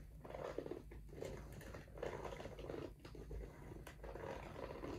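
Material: Rubber.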